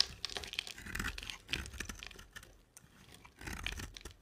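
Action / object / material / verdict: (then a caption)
scrape / bar of soap cut with a blade / soap / none. A solid rectangular white cream soap bar with a black glitter coating is held in the hand and shaved with a box-cutter blade. Quiet, dry scraping and carving give a run of bright crackly, crinkling scratches. Louder bursts come near the start, middle and end, with a softer stretch between.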